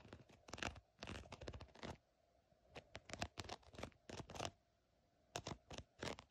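A long painted fingernail or thin pointed tip scratches and taps across the raised scales of a green, glossy, embossed faux snakeskin surface, likely a synthetic leather bag or wallet. Quick, dry, crackly scratching bursts come in clusters separated by brief quiet pauses, bright and textured with almost no ring after each stroke.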